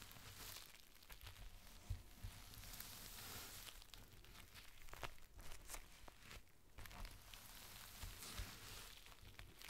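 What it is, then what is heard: Clear plastic rain cover being crinkled. A thin, clear plastic rain cover is folded into a strip while palms and fingertips press and crinkle the sheet. The result is a steady, bright crinkling and rustling over a low rumble, with a few sharper crackles standing out.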